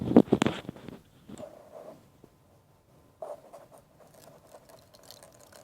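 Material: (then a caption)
Metal. A previously repaired Isuzu 1.7L diesel pump electronic control unit (EDU 8971891360/8971891361/8971891362) in a metal box is shaken, giving a dense burst of loud rattling in the first second. Softer, scattered rattles follow after a pause. The rattle points to something loose inside the bottom of the housing, a fault.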